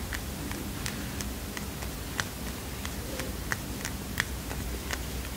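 A small heart-shaped paper mini notepad is tapped with fingernails, giving a run of light, quick ticks with a crisp edge around 1.9 kHz and a bright top. Each tap dies away almost instantly over a quiet, steady low hum.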